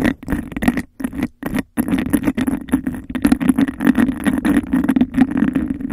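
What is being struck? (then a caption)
Textured glass cup. Long nails rapidly tap and scratch a hollow, empty, clear bubble-textured glass cup held over the mic. The result is a dense, fast patter of clicks and scrapes with a hollow resonance around 240 Hz, a faint bright ring above, and brief silent gaps near the start before the scratching continues steadily.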